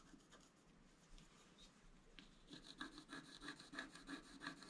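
A wooden stylus scratches and rubs the coating of a flat, black-coated scratch art card near the drawn antlers. Faint, soft scratching gives way after about two and a half seconds to quicker, steady back-and-forth strokes with a dry, raspy, bright edge.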